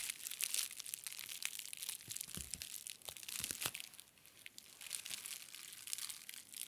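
Fingertips and short nails press and scratch a clear plastic bubble wrap sheet stretched over a plastic brain model, crinkling and popping the bubbles. The sound is a quiet, steady, bright crinkle of dense little clicks, with a few sharper pops near the middle and a brief lull before the crinkling picks up again.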